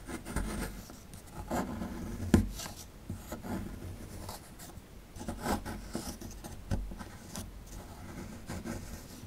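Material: Plaster.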